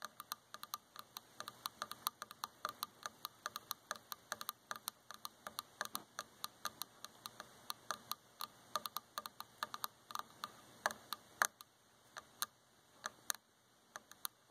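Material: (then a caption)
Wood. Long fingernails tap rapidly and irregularly on the dark varnished solid wooden arm of a chair, about seventy quick taps in all. Each tap is a short, dry, bright click with almost no ring and no low-end body, over a faint steady background hiss.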